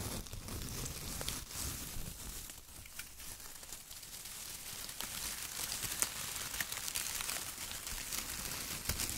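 Bare fingertips grab, squeeze and crumple a pile of thin, dry, light brown shredded kraft paper strips on a white table, with a rubber duck sitting untouched in the pile. The sound is a steady, quiet, bright crinkling and rustling with scattered sharp crackles, and no speech.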